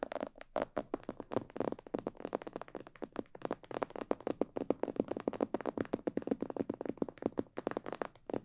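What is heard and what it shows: Long painted nails and fingertips tap around the ears and sides of a life-size hollow glossy black plastic or fiberglass binaural mannequin head that has microphones in its ears. A rapid, uneven run of dozens of short, dry, hollow-sounding taps follows, each one stopping almost at once with no ring.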